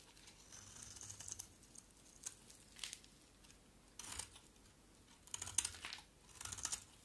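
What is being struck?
Bar of soap.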